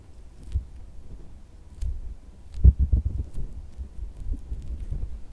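A pink soft silicone squishy dog toy resting on a white fabric bed is pressed and tapped with the thumb, fingertips and red-painted nails. Dull, low, muffled thuds and soft squishes sit almost entirely below 200 Hz with very short decay, with faint bright nail clicks between them. A cluster of firmer taps lands near the middle of the clip.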